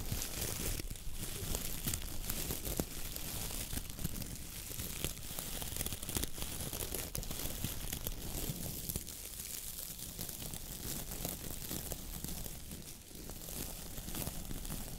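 Long nails and fingertips scratch and squeeze the stiff brown bristles of a coconut-fiber dish brush head held in both hands. A steady, dense crinkling rustle with bright, crackly scratches runs over a low, rumbling texture for the whole clip, dipping only briefly near the end.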